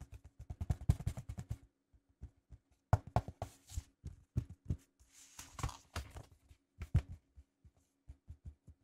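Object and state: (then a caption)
Vinyl record in paper sleeve. Fingertips tap repeatedly on the label area of a 12-inch vinyl record held flat inside a white paper inner sleeve, its red label visible through the centre hole. The taps land as dull, low, soft thuds with almost no ring, arriving in quick irregular bursts with a faint papery rustle.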